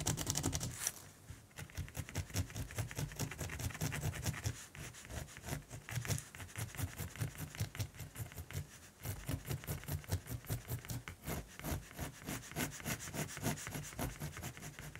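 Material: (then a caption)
Graphite, canvas. A mechanical pencil makes long rubbing and shading strokes across the beak area of a raven drawing on a flat primed canvas with a cream paper guard sheet. It gives a steady, dry scratch on the canvas weave, with quick irregular strokes and a bright, hissy top over a soft low rumble. The level dips briefly around 1 and 9 seconds before the strokes pick up again.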